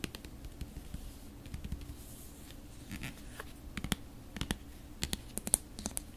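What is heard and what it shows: Long nails tap and scratch along the body and black screw cap of a large, full, red plastic acrylic paint tube held in the hands. Quiet, irregular, sharp bright clicks from the taps sit over a soft, steady scratching hiss, and the taps grow a little louder and closer together toward the end.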